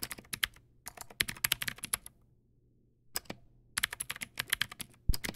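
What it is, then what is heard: Plastic mechanical keyboard. Fingertips type on a Teamwolf Zhuque+ X08, a backlit mechanical keyboard with white plastic keycaps and clicky blue switches. Sharp, bright clicks come in quick bursts, pause for about a second, then resume. A faint low hum runs underneath.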